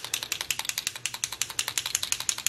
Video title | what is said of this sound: Gorgeous Purple Glam Resin Coasters | you hear that paint getting mixed up